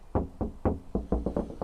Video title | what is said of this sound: Cheap Sound Insulation/Car Sound Deadening/Dynamat Alternative DIY + Test | Obviously you can still hear it because I'm knocking on it